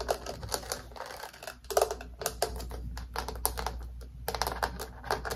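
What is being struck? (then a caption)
Small clear plastic stacking container. Long painted fingernails tap rapidly on a small, clear acrylic or plastic multi-tier stacking organizer with a paper label, hollow and apparently empty, held in the hand. The result is a fast stream of light, dry plastic clicks that stop short with almost no ring.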